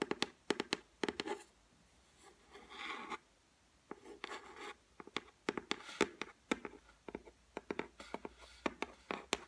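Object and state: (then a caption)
Laminated shelf top tapped and scratched with fingernails. Long white nails tap and scratch on the flat, solid top of a white laminated shelf. Around thirty quick, dry clicks come in irregular bursts, broken by softer scratching strokes. Each click is bright and dies almost instantly.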